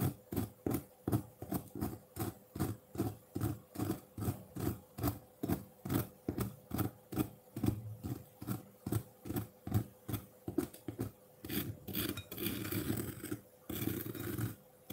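A metal fork repeatedly scrapes a solid block of colored ice in a white ceramic bowl, piling ice shavings on the surface. Quick, steady, low crunchy scrapes repeat about two to three times per second with a faint steady hum underneath. Near the end the strokes blur into a longer, brighter grinding scrape.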